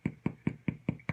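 Six hollow, low knocks on the crusty bottom of a scallion soda bread loaf just out of the oven, each a short dull thud with no ring. The hollow sound and the good crust show the loaf is done, baked all the way through.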